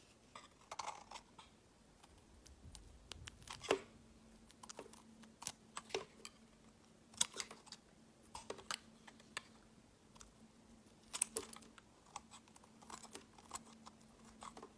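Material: Soap.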